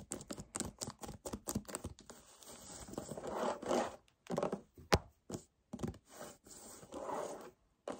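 Short nails and fingertips scratch and rub a hollow 1 L white paperboard kefir carton. A fast run of dry, quick scratches gives way to longer, swelling rubs. Scattered sharp taps and scrapes follow, with brief silences between them.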